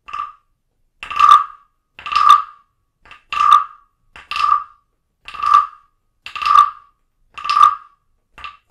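A small hollow carved wooden frog figurine, held in a hand with long nails, is tapped repeatedly with a wooden stick. Each strike gives a short, hollow, woody rasp centred around 1.2 kHz with a bright edge, recurring roughly once a second with brief silences between.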